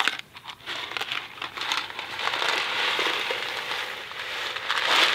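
A thin cardboard Kraft macaroni & cheese box filled with dry pasta is held in one hand and shaken, and it ends partly out of frame. After a few sparse ticks at the start, the dry pasta rattles and crinkles against the cardboard in a dense, bright, steady wash with no low end. It grows slightly louder toward the end.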